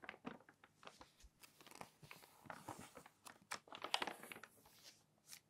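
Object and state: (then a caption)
Glossy magazine pages crinkled. Fingers flip and crinkle the pages of a thick, open glossy magazine. The result is a quiet run of quick, bright paper rustles and crisp crinkles in short, irregular bursts, with almost no low end.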